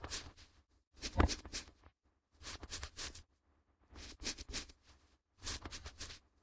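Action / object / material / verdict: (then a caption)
scrape / sheet of A4 printer paper / paper / none. A flat white sheet of A4 printer paper, held in both gloved hands above the recorder, is bent, flexed and rubbed between the fingers. Five bursts of crisp, bright crinkling and rustling are separated by short silences, over a faint low hum.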